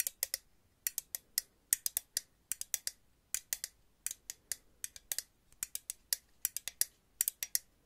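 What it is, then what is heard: Aluminum aerosol can. A purple aluminum aerosol hairspray can is tapped and clicked with paper clip nails, making 35 sharp, bright clicks in quick irregular bursts. Each click is thin and high-pitched with almost no low end and dies away almost instantly, leaving near silence between the quiet taps.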